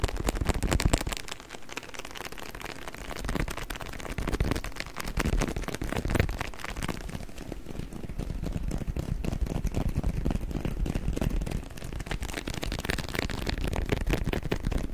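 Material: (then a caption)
Waxed cloth. A rolled, patterned beeswax wrap is crinkled and rubbed by hand close in front of the microphone. It makes a steady stream of dense crackling and crinkling with heavy, close low-end rumble. The sound dips briefly softer around the second and eighth seconds before building again.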